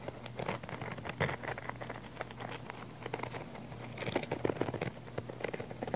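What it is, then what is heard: Nylon fabric camera case. Long nails scratch the fabric of a small black padded nylon camera case, making a dense, soft patter of irregular scrapes and crackly scuffs over a faint steady low hum. The scratching grows louder and sharper toward the end, just before one hand briefly lifts away.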